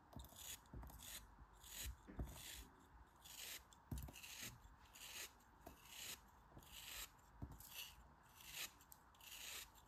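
A small, solid pink kinetic sand cone, held between fingers with long red nails, is pressed and scraped with a dark utility knife blade. Bright, gritty rasping strokes repeat at an uneven pace, each with a soft low thud as the blade bites into the sand.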